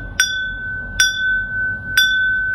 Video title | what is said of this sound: WHISTLES and Wasp Man, Matchbox Cars, Davidson and Sowerby Glass, Red AA Badge...No. 28 | Nice ring to it if you tap it as well. Oh, yeah. Beautiful. Yeah, lead glass as well.